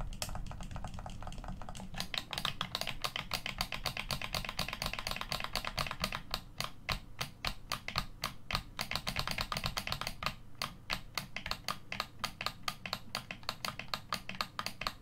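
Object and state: Plastic game controller.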